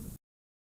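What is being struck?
Nothing is struck.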